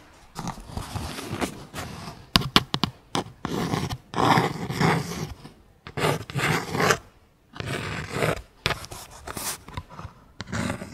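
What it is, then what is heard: Cardboard clothing tag. Long pink acrylic nail tips scratch a thin, flat, small dark cardstock clothing tag with a label reading Barbilioni. Bursts of dry, bright scraping and rasping alternate with a few sharp clicks and brief quiet gaps.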